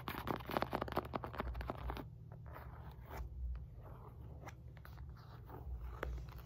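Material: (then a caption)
Synthetic leather. Fingertips and nails tap and scratch the top of a solid, red and white stitched synthetic leather medicine ball weighing 4-5 lb. Dense, rapid dry tapping and scratching fills the first two seconds. Softer, sparser scratches and a few isolated sharp clicks follow over a steady low hum.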